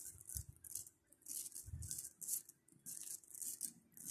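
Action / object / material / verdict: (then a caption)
shake / plastic pearl bead necklace / plastic / none. A long strand of small pink plastic pearl beads, held close to the mic, is shaken and rolled between fingers. The beads clatter together in quick, bright rattling bursts, with occasional soft low thumps from the handling between them.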